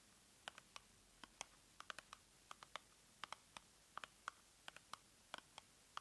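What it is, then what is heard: Cardboard box tapped with fingernails. Long nails tap and scratch on a small, hollow, pink printed cardboard product box, held over the open box. About 23 quick, dry clicks sound in an irregular patter, bright and crisp with almost no ring, over a quiet background.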